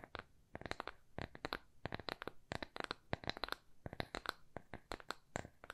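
A small, thin, solid square plywood coaster with rounded corners is held upright in both hands and tapped and scratched with long nails. Quick dry clicks and short scratches come in uneven bursts, each dying away almost at once, with bright, crisp edges over a faint low body.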